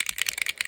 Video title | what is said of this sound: A Valentine's Day Card for a 2-year-old | shake it until you hear that noise and then shake it a little bit more and then you're ready to go